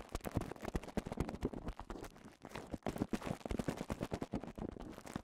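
A cone of clear plastic bubble wrap is held in both hands while the fingers squeeze and rub the bubbles. The result is a dense, continuous run of short, sharp pops and crackles with quick decays, weighted toward low and mid tones, over a soft plastic rustle.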